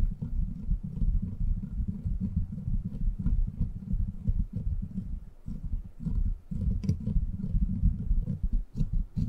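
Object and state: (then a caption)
Metal microphone grille being rubbed. A silver microphone with a steel mesh head is cupped in both palms while the fingers rub the sides of its grille and metal body. The result is a close, continuous, muffled low rumbling and scuffing with frequent soft taps, almost all of it deep bass and no bright content.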